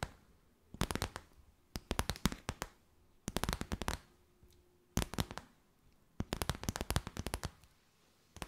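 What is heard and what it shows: Long white nails crinkle and tap a clear, stiff, empty plastic bag. Quick bursts of sharp, dry clicks and crackles span low to bright highs, separated by short quiet gaps. Each tap dies away almost instantly.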